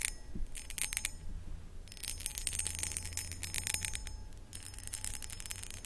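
Long acrylic nails rapidly scratch and tap the textured sides of a hollow, empty, medium cut crystal glass pedestal bowl. The result is dense, bright clicking and scraping that comes in bursts, with faint ringing over a low background hum.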